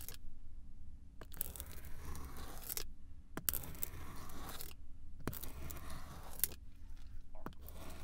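A pink pizza cutter wheel is rolled across a flat, solid slab of swirled pink, blue and yellow kinetic sand, cutting it in parallel lines. Each pass gives a soft, gritty crunching scrape over a low rumble, with brief quiet gaps between the strokes.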